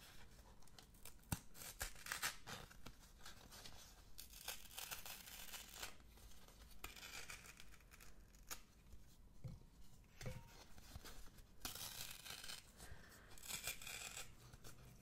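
A small folded piece of thin brown kraft paper or light card with a printed label is held in both hands close to the microphone and torn and crinkled by fingertips with long red-painted nails. Soft, dry tearing rips and crackly crinkling come in uneven bursts of bright, hissy noise, with a few sharper snaps among them. The overall level stays quiet and close.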